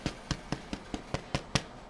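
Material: Bread.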